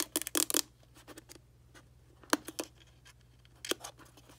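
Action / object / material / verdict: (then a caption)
tap / plastic instant camera casing / plastic / none. A pink plastic Fujifilm Instax instant camera, hand-sized and hollow, lies on carpet while long painted nails tap and scratch its casing. Sharp, bright clicks and scratchy taps come in a dense flurry at first, then sparser single taps follow over a faint low hum.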